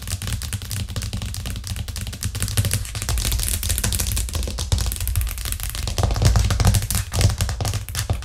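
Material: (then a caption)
Plastic. Long nails tap fast on a white plastic cutting board with green edges resting flat on a cork trivet. A dense, continuous stream of sharp, bright clicks rides over a heavy low thump, with the taps blurring into a rapid, typewriter-like patter that swells slightly louder toward the end.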